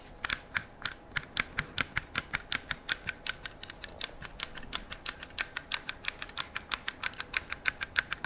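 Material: Metal, polymer.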